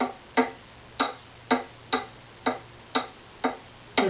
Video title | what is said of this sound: Tap Tone Survey of my Opus # 04 Violin | the two sides they're pretty close I'd say that's even